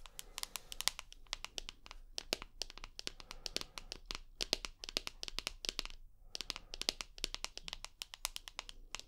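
Long nails tap and scratch along the aluminium side edge and buttons of a rose gold iPhone with a glass screen, held edge-on. Dense, rapid, bright clicking ticks come in quick clusters with brief pauses, each tick dry with no ring, over faint scratchy crinkling.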